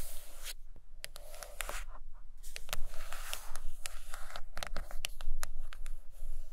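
Long acrylic nails tap and scratch the cover of a thick, solid purple hardcover book lying closed on a carpet. Quick, dry clicks with a bright edge come over soft, steady scratching, plus a low rumble underneath.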